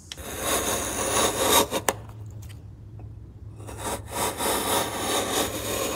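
A steel chisel, guided by the fingertips, shaves and scrapes the top corner of a solid light softwood block resting on a workbench. Dry, rasping scrapes with bright, hissy texture build through the first second and a half, ending in two sharp clicks, with a low steady hum underneath throughout. After a brief quieter gap the scraping resumes in steady strokes.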